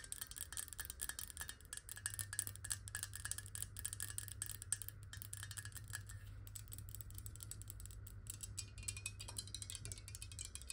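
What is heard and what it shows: A clear square glass bottle, partly filled with water and tilted in the hands, is tapped very quickly with long nails. The result is a dense, steady stream of bright, crisp clicks with short glassy rings, over a constant low hum.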